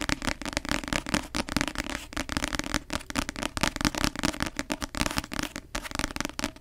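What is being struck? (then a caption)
Paperback book with glossy cover. Long nails tap rapidly on the glossy cover of a paperback novel held close to the microphone. The solid block of paper gives a steady stream of crisp, dry clicks with a bright top, a dull papery thump underneath, and almost no ring after each tap.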